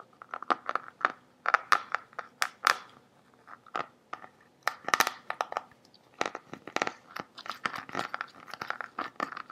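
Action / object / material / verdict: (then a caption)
tap / plastic water bottle partly filled with water / plastic / none. A large, clear, green-tinted plastic bottle, hollow and partly filled with water, is held in both hands and tilted while fingertips and nails tap and scratch its surface. The result is a steady run of quick, dry taps and crinkly scratches with a hollow plastic resonance around 1.3 kHz and bright, clicky edges. Each tap dies away almost instantly, with no low-end weight.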